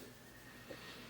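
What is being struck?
Nothing is struck.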